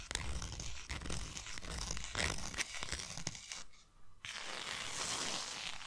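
Long nails scratch and tap the sides of a tall, narrow, closed white cardboard box, giving a dense run of dry, bright scraping mixed with quick knocks. The scratching drops away for a brief lull near the four-second mark, then resumes as a steady, hissy rasp.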